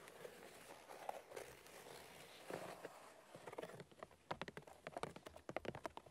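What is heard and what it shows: Both hands rapidly tap the white bark of a large, solid birch log with their fingernails. A dense, scratchy patter of light clicks in the first half gives way to sharper, more separated taps that end almost instantly, each a dry click with a woody tone around 625 Hz.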